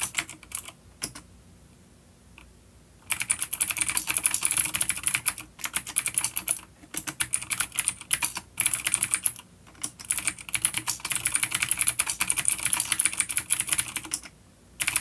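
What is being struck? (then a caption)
Plastic mechanical keyboard with clicky switches. Fingertips of both hands type on a full-size, dark plastic vintage mechanical keyboard with clicky blue switches and grey keycaps, resting on a wooden desk. Bursts of rapid, bright, sharp clicks come in runs separated by short quiet pauses. Each keystroke is crisp and dies away almost instantly.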